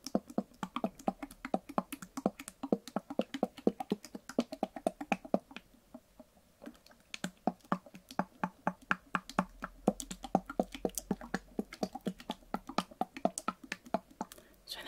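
A small white translucent plastic cosmetic bottle with a green leaf print, filled with liquid, is tapped with fingernails and tilted. Quick, sharp clicking taps follow each other in an uneven stream, thin out briefly around the middle, then pick up again. Each tap is short and dry, with a bright edge.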